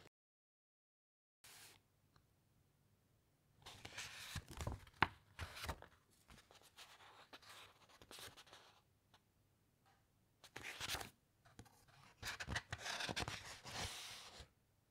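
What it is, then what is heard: Thick encyclopaedia pages rubbed and turned. In an open hardcover encyclopaedia, fingertips rub across the thick paper pages and a page is turned. After about a second and a half of silence, soft, dry, bright rustles and scrapes come in irregular bursts. Louder papery swishes rise around the middle and near the end, where the page turns.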